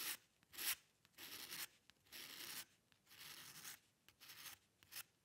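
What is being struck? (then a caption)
Paper sheet under a metal dip-pen nib. The metal nib of a dip pen with a green patterned holder scratches across a single sheet of white drawing paper lying flat on a dark table, drawing fine hair strokes. Each stroke is a dry, bright, scratchy rasp, with short pauses and small ticks between strokes, in an irregular series.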